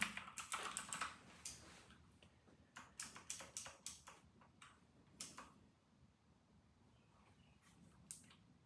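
Fingertips of both hands type on an RK960 white and grey plastic mechanical keyboard with round plastic typewriter-style keycaps, resting on a white desk. Bursts of sharp, bright clicks come in uneven runs with short pauses, each keystroke decaying quickly over a faint background hiss.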